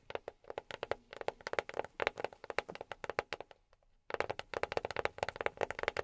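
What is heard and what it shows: A box is tapped quickly with silicone rubber pads on the fingertips, making a rapid run of short, dry, muted taps with a mid-range knock around 555 Hz. The tapping fades into a brief near-silent pause just before the four-second mark, then resumes at the same brisk pace.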